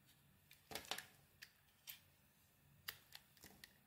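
A metal blade scrapes thin curls off an oval solid bar of soap with a pearly iridescent coating and a blue marbled inside, held in the palm. Nine short, crisp, bright scraping strokes are heard at uneven intervals over a quiet background, each ending quickly.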